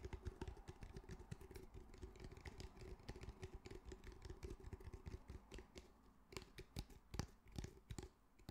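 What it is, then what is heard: Fabric-covered cylindrical speaker. A medium grey cylindrical speaker with a fabric mesh cover and solid body is held in both hands and tapped and scratched with fingertips and nails. Rapid, quiet, dull taps and scratchy brushing run continuously over a faint steady low hum. Near the end they thin into a few sharper, louder clicks.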